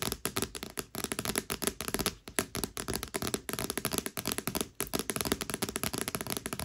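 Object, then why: Paperback book with glossy cardstock cover. Long nails scratch and tap rapidly across the glossy cardstock cover of a thick, solid paperback book. The result is a dense run of short, dry clicks and scrapes with a bright, crisp edge and almost no ring.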